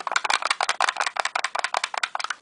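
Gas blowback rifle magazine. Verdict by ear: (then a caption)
Loose. A 30-round WE gas blowback rifle magazine is shaken, giving a fast, dense series of bright, clicky rattles from loose parts inside. Unlike the solid 20-round magazine, it rattles audibly.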